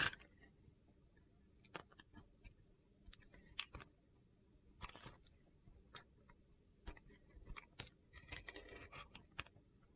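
A utility knife blade slices along the scored lines of a red-blue glitter-coated bar of soap, making a series of quiet, crisp, crunchy cuts. Each cut is a short, bright, gritty click that dies away almost at once, with some coming in quick clusters between brief pauses.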